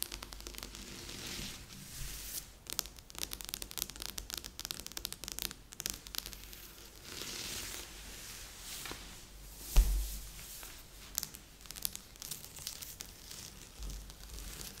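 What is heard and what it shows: Fingertips and nails rub and scratch across a large assembled cardboard jigsaw puzzle showing a pastry shop, lying flat on a board. Dense, dry scratching and crinkly rustling come in uneven bursts with a bright hiss, plus smoother stretches of steady rubbing. One sharper, louder tap stands out near the middle.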